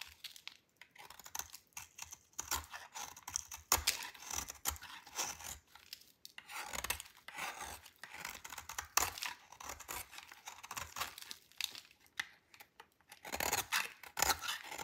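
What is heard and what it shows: A metal utility knife blade scrapes and shaves a dry, solid purple bar of soap. A steady run of short, dry, bright rasping strokes with a crumbly, tearing texture is heard, with little low end and only faint, brief ring after each pass.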